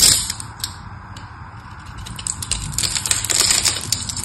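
A small metal knife blade scores a grid into the face of a solid, rectangular, palm-sized pink bar of soap held in one hand, shaving off small cubes. The result is a stream of crisp, bright scratching and crackling clicks at an irregular pace, growing denser and louder toward the end.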